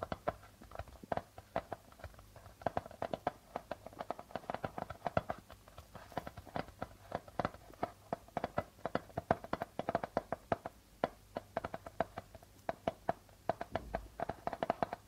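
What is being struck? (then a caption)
Darbuka hand drum with plastic membrane. Fingertips and nails of the right hand tap and scratch the white plastic head of a hollow darbuka hand drum. The result is dozens of quiet, quick, dry taps with a faint hollow tone near 676 Hz that dies away almost instantly, mixed with soft scratchy brushing of the membrane.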